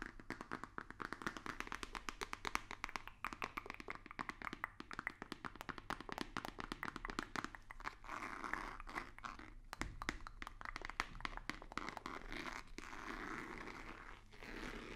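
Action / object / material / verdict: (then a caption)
tap / rigid cardboard box / cardboard / none. Fingertips and nails tap on a hollow, white, rigid cardboard box with a black stripe. The result is a rapid stream of short, dry, hollow taps with a midrange knock near 1.2 kHz. In a few stretches, the taps give way to softer, continuous scratchy rustling.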